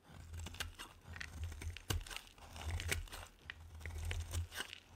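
A solid white bar of soap held in the hand is shaved with a metal utility knife blade, giving a run of dry, crisp scraping and crunching cuts. Sharp bright flakes of sound sit over a steady low rumble.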